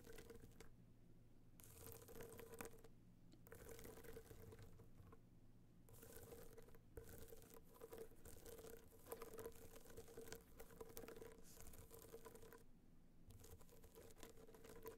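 Long nails tap rapidly on a small, rigid, hollow box clutch covered in gold metallic material with raised dots, lying on fur. Quiet bursts of fast, dry, crinkly tapping come and go with short pauses, over a faint steady midrange tone and a low rumble.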